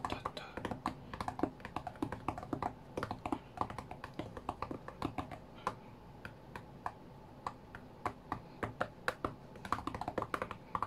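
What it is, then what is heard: Glass tablet touchscreen tapped. Fingertips tap rapidly on the glass touchscreen of a flat white iPad during a rhythm game. The taps are short, dry clicks centered in the mid range with almost no ring, landing in quick, uneven bursts over a quiet background for about eleven seconds.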